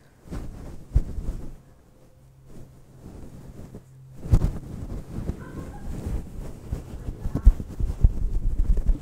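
Long light-blue painted nails scratch a fist-sized, soft, fluffy grey synthetic fur windscreen on a microphone. The result is a dense, muffled, low rumbling rustle with sharp thumps, pausing briefly to a quieter stretch before growing busier and louder toward the end.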